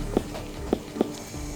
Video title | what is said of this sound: Non-Stop Bondi Vet Full Episodes: 3+ Hour Marathon | we know when it's right when we can flick it and it sounds like a watermelon. Means the pressure is enough.